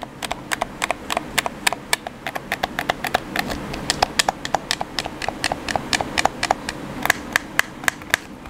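A black hollow plastic gamepad is held in the hands while thumbs and fingertips press and tap its buttons and sticks. The result is a steady, somewhat irregular run of short, dry, bright plastic clicks, about four per second, each dying away almost instantly over a faint low background rustle.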